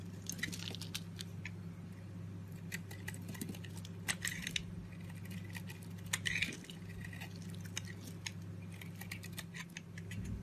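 A box-cutter blade scrapes across a solid, palm-sized green soap bar, lifting thin layered flakes. Soft, quick scraping cuts and crisp flaking ticks repeat over a steady low hum, with a slightly louder burst partway through.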